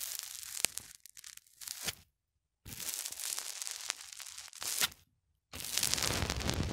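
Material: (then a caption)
Polyethylene foam. A small black plastic cylinder held in the fingertips is pushed repeatedly into the surface of a white polyethylene foam block. It makes bright, crackly, creaking crunches with sharp squeaky snaps, in three bursts separated by short silences.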